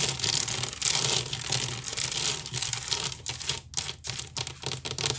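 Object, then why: Woven wicker basket. Long nails scratch quickly near the rim and along the side of a large, hollow woven wicker basket. The result is a dense, bright, crackling rasp that runs almost continuously at first, then breaks into short, choppy bursts with brief gaps. A faint low hum sits steadily underneath.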